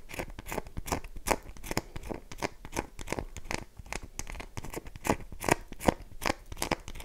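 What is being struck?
Bar of soap.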